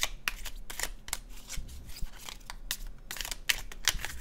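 A red-orange laminated cardstock tarot deck is held in the hands and overhand shuffled, the cards sliding and flicking against each other. Quick, bright, papery flicks and riffles come in an uneven stream over a soft low rumble, each snap dying away almost at once.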